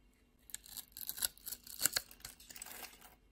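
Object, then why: Soap bar. A metal utility-knife blade scrapes and cuts across a palm-sized solid purple soap bar, held in the hand and pre-scored in a grid, shaving off small soap cubes. It makes a quick run of dry, crisp, crackly scrapes that are bright and high with almost no low end. Each cut is short and snappy and stops at once.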